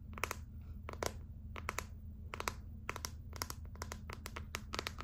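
Long acrylic nails tap and scratch the back of a gold glitter clear plastic phone case, a hollow shell, making quick bursts of sharp, bright clicks and crinkly scratching. The taps come in uneven clusters over a steady low hum in a small, quiet room.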